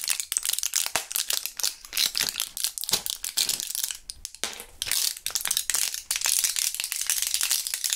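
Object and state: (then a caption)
Gum blister pack handled, crinkling and rattling. A full plastic and foil blister pack of purple gum is flipped between its foil back and plastic front, then rattled and crinkled with gloved fingertips. Dense, bright crackles and rattles come in many quick bursts, with almost no low end and no ring after each sound.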